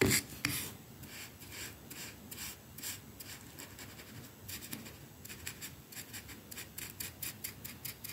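A wooden hairbrush with dense dark bristles is pressed and brushed along a solid white painted plaster wall that is rough and pitted. It makes a quiet series of quick, uneven scratchy rubbing strokes with bright hissing bristle noise, starting with a slightly louder scrape. The strokes come in rapid bursts that fade almost at once.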